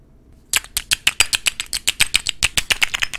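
Fingernails tap the faces of a filled rectangular dark blue thick-glass perfume bottle with a gold emblem and a gold metal cap. After half a second of near silence, about 20 quick, bright glassy clicks follow at an uneven pace, each dying away almost instantly with little low end.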